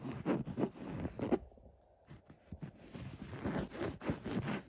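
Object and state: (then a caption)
Linen throw pillow being scratched. Fingertips scratch along the black script letters printed on a cream linen-weave throw pillow. Soft, dry, papery scratching strokes come in quick irregular bursts, with a quieter stretch in the middle before the rubbing picks up again. The sound stays muffled and low, with little brightness.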